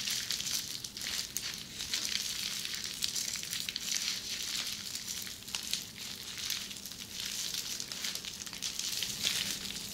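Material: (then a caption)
Plastic. Long red-painted nails scratch across flat red plastic bubble wrap up close, making a steady, bright crinkling and scratching hiss. Small crackling ticks come through over the high-frequency rustle, with no low end.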